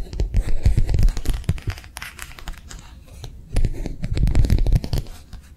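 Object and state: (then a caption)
Thin plastic sheet. Long nails tap quickly on a thin, flexible matte plastic sheet held in both hands. The rapid, uneven taps make a soft crinkly crackle over a dull, low thumping body. The tapping comes in two busy bursts separated by a quieter, lighter stretch.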